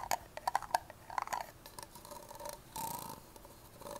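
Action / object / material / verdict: tap / plastic party cup / plastic / none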